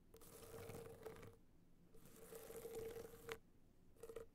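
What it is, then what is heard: Rhinestone-studded hard-shell clutch scratched. Long nails scratch the studded surface of a gold rhinestone-studded hard-shell clutch tilted on fur. Three quiet bursts of dry, gritty scratching are separated by short pauses, each carrying a faint steady tone around 450 Hz.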